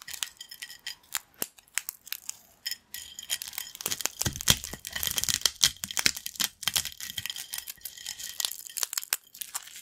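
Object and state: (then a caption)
Crunchy corn snack chips crushed by hand. Yellow crunchy corn snack chips on a black plate are snapped and crumbled between fingertips. Dense, irregular bright crackles and crunchy tearing snaps run throughout, with short sharp bursts over a faint high-frequency crinkle and little low end.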